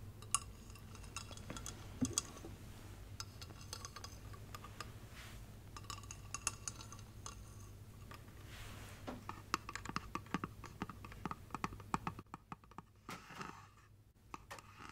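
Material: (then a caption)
Glass. A tall, cone-shaped, hollow clear glass light-up Christmas tree figurine, about 25 cm, with LED string lights inside, a star on top and a silver base, is held in both hands and tapped with long red-painted nails. Quick, dense runs of light clicking taps give bright, short glassy ticks that die away almost instantly, with a ringing tone around 1.2 kHz over a steady low hum.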